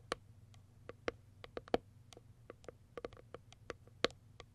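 Long white acrylic nails tap and scratch the top of a small white printed Kiara Sky cardboard product box. The result is a quick, uneven run of short, dry clicks and ticks with a papery, hollow tone around 490 Hz and bright crisp edges, each dying away instantly over a faint low hum.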